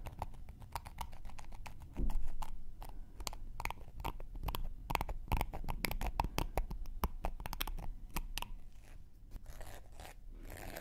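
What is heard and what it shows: A thin wooden knitting needle is scraped along the edge and surface of a round, flat, solid cork coaster held in one hand. It makes a dense, irregular run of short, dry crackling scratches with no ring. The scratches jump louder briefly near the start, then continue at a steady, low level.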